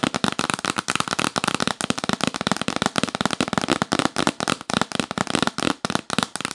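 Long nails rapidly tap and scratch across the lid of a yellow printed cardboard box held upright, its inside hollow. The result is a fast, dense stream of dry, sharp clicks and brief scratchy bursts with a slightly hollow body. Each hit stops almost instantly, with no ring.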